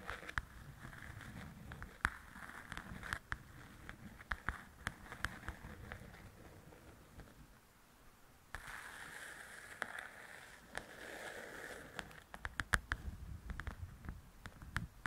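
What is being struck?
Paperback coloring book.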